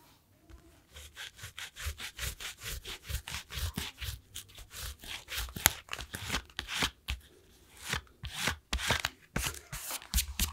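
The edge of a flat, solid panel of glued red and green dyed leather, lying on a cutting mat, is rubbed with a small sanding block held in the fingertips. A steady run of quick back-and-forth strokes makes a dry, bright, scratchy rasp with a soft low scuff under each pass. The strokes briefly pause near the end before resuming.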